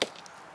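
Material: Wood.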